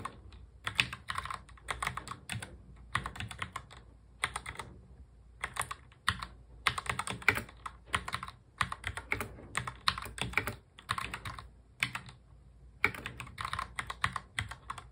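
A full-size black plastic mechanical keyboard is touch typed quickly with the fingertips of both hands. Bursts of bright, crisp key clicks come in rapid runs separated by short pauses, with a soft low thud beneath each stroke.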